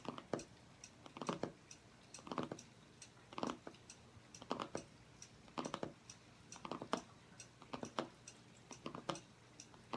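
Fingernails tap in quick succession on the cardboard cover of a striped hardcover journal lying flat on a table. The taps come as short, dry, clicky bursts at an irregular pace, with a dull papery body and bright clicking edges. They die away almost instantly and leave only a faint hiss between bursts.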